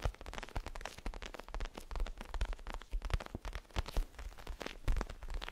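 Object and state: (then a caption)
Crinkly plastic pillow. A small pillow with a zigzag pattern and a crinkly plastic cover is tapped and scratched with fingertips and moved quickly. The result is a rapid, uneven stream of soft thumps and crackly plastic rustles, with most of the energy in dull low thuds under a bright crinkle.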